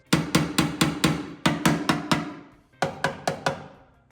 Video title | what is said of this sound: How To Repair Rusty Rocker Panel on 1st Gen 4Runner - Cut, Fabricate & Weld! | Esta seção de metal aqui soa tão sólida quanto a nova seção que eu já soldei. Então, talvez eu possa deixá-la assim